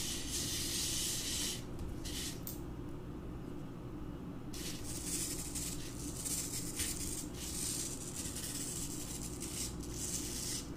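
A hand-held wire bottle brush rubs and scratches across several small, solid, dry green floral foam blocks set side by side on a carpet. The brushing makes a bright, gritty hiss in uneven strokes, fading briefly and going quieter for about two seconds near the start before picking up again. A steady low rumble runs underneath throughout.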